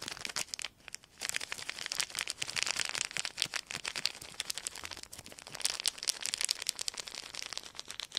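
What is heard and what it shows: A wad of clear plastic sheet film is squeezed and crinkled between the fingertips, making dense, bright crackling and crinkling with almost no low end. The crackles come in quick, sharp bursts with a brief lull near the start, then continue steadily throughout.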